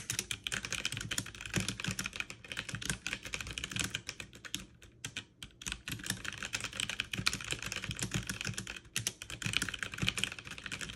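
Fast two-handed typing with fingertips and long nails on a backlit mechanical keyboard with plastic keycaps produces a dense, steady stream of bright, crisp clacks with a low thock beneath. Each keystroke is short and dry, and the rhythm briefly thins around the middle and again near the end before the rapid typing resumes.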